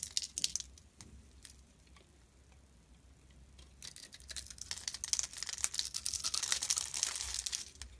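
A utility blade carves and scrapes a solid, hand-size, striped purple and white soap bar into crumbly curls. Bright, crisp crackling scrapes come in quick, uneven bursts, quieting in the middle before building into a dense, louder stretch of shaving sounds.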